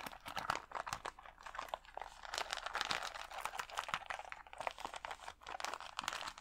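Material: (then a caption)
Plastic. Fingernails scratch across the acrylic gems of a clear plastic rhinestone sticker sheet held against the chest. The result is a dense, continuous run of quick, dry crinkling clicks and scratches, bright and brittle with almost no low end. Each tick stops short with no ring.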